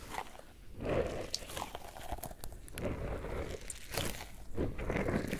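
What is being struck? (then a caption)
Rubber squishy ball filled with gel beads. A small yellow pineapple-shaped squishy stress ball, with a stretchy rubber skin filled with gel beads and a green leaf top, is squeezed and kneaded with fingertips. It gives soft, low crunching and squelching sounds with faint crinkly bright edges, in repeated bursts that swell and fade.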